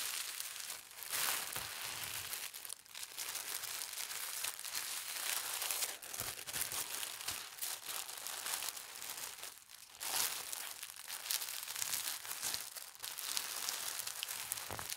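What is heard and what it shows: Fingertips with long red nails press and smooth the folds of a thin holly-print tissue paper sheet, folded into a layered rectangle on a tissue-covered table. The result is a steady, dense, bright crinkling and rustling that swells and eases in soft waves over the whole clip.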